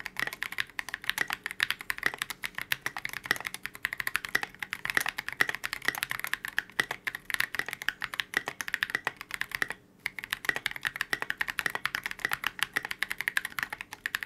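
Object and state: Polycarbonate mechanical keyboard.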